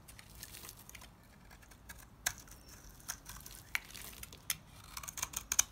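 A utility knife carves crumbly chunks off a solid, dry white rectangular soap bar held in the hands. Quiet, bright, dry scraping and crumbling rustle is broken by sharp, crisp clicks as pieces snap away, with almost no low end and no ring after each cut.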